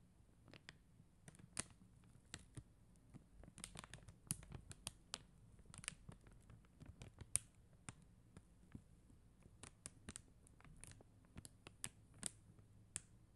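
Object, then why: Plastic rhinestone sticker sheet tapped with acrylic nails. Long acrylic nails tap and scratch across a flat sheet of faceted plastic rhinestone gem stickers. Crisp, bright clicks and brief scratches come in an uneven series, each dying away almost instantly, over a quiet, low background hum.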